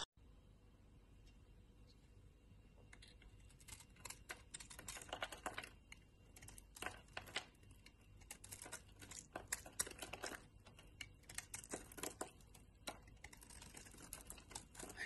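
A box-cutter blade shaves and carves a palm-sized, brown rectangular bar of solid soap held in a hand with long dark nails, peeling off curled shavings. Quiet, crisp scraping and clicking cuts build after a softer start into a dense run of short, bright, dry strokes over low background hiss.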